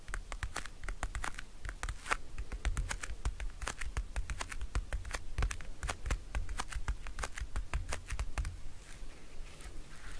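Fingernails scratch and tap the lid and edges of a small, round, pink patterned plastic compact folding mirror, held closed in both hands. The hollow, hard plastic case gives off a steady run of quick, sharp clicky taps with scratchy rasps between them. A dull low rumble sits underneath throughout.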